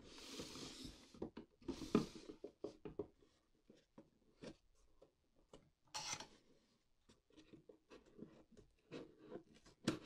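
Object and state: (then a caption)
Cardboard shipping box. Fingertips and long black-painted nails scratch and tap along the top flap seam and edge of a closed, hollow white corrugated cardboard mailer box. Soft, papery scratching gives way to a string of short, dry taps with a hollow low body and brief bright rasps.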